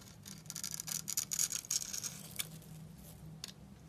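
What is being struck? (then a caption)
Bar of soap scraped with a blade. A utility knife blade scrapes across a dry, solid blue bar of soap cut into a grid, breaking off small cubes. Bright, crisp crunching and scraping bursts come in an uneven run, louder in the middle and fading toward the end. A faint low hum sits steadily underneath.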